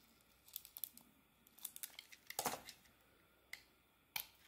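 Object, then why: Solid soap bar cut with a blade. A utility blade carves thick curls off a solid soap bar held in the hand, the bar having an orange, green and gold marbled coating and a pale green inside. A series of short, dry, crackling scrapes comes through, bright and crisp with almost no low end. The louder, longer strokes near the end sound like crinkling tears.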